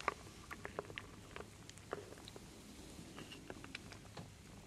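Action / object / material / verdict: scrape / wooden beads and acorns in a wooden bowl / wood / none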